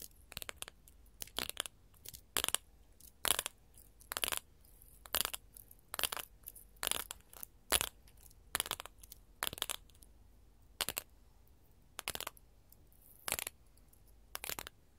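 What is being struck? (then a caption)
Glass mosaic tile sheet. A sheet of small, colored, solid glass mosaic tiles is tapped with gold metal filigree finger claws. Sharp, bright clicks come in quick irregular bursts and clusters, each dying away almost instantly. There is little low end, and the background is quiet between taps.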